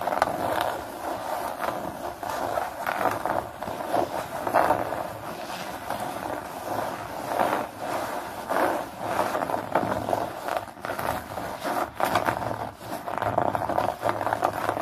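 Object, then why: Synthetic nylon fabric bag. Fingernails of both hands scratch and crumple the surface of a flat blue nylon bag with a hexagon pattern lying on a towel. The result is a continuous dry, papery rustle centered in the mids with little low end, swelling and fading in uneven bursts of scratching and crinkling.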